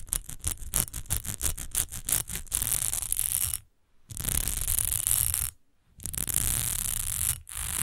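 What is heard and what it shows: Long almond-shaped nails tap and scratch the front and side edges of a rectangular, partly filled textured glass rose perfume bottle. A fast run of sharp taps gives way to continuous bright, hissy scratching with a low rumble underneath, broken by two brief silences.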